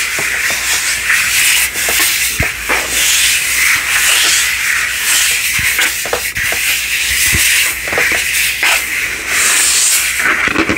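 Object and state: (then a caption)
Plastic light-up globe. Palm and fingertips rub and scratch quickly over the surface of a large, hollow, frosted plastic light-up crystal ball, a globe lit from inside and sitting on a black base. The result is a steady, bright, hissy scraping with almost no low end, broken by brief sharp ticks where the fingers catch the plastic.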